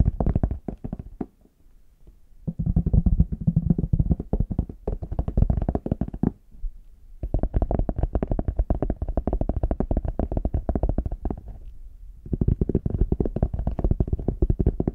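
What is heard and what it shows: A small, hollow, brown faux leather hard shell case is held in both hands while fingertips and nails tap rapidly on its smooth back. The result is dense bursts of soft, low, hollow knocks, with a few brief pauses between the bursts.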